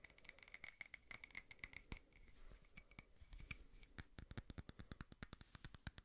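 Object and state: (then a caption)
Frosted glass candle holder. Fingernails rapidly tap and scratch a small frosted glass votive holder with a wax candle inside. The result is a fast stream of short, bright clicks with a dull low knock under each. A raspy scratching passage sits in the middle before the crisp tapping resumes at a steady quick pace.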